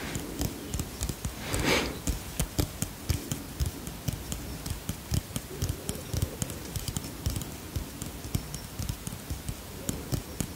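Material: Plastic.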